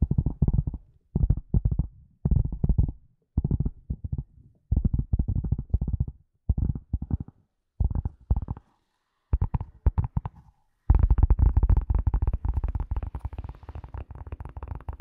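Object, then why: Leather glasses case. Long glossy nails of both hands tap and scratch a flat, hollow, light gray suede-like leather glasses case held in front of and over the microphone. Short bursts of rapid, dull, deep thumping taps come in clusters separated by brief silences. In the final few seconds this becomes a continuous, denser patter of tapping and scratching.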